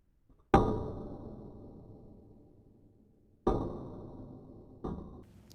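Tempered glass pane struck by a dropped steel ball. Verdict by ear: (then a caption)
Intact. A 500 g steel ball, dropped with force like a hammer blow, strikes a tempered glass pane three times, each a sharp, clanging impact with a bright ring around 790 Hz that slowly fades. The glass stays intact because it is tempered; untempered glass would be about five times weaker.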